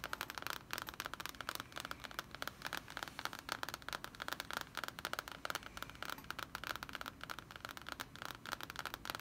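Long painted fingernails and fingertips of both hands tap and scratch the glossy printed cardboard cover of a large, closed hardcover D&D Player's Handbook lying flat and solid on a wooden table. A quiet, steady stream of rapid, crisp clicks and scratchy scrapes stays mostly in the mid and high range, with a recurring tone around 1.3 kHz and very little low end. Each tap dies away almost instantly.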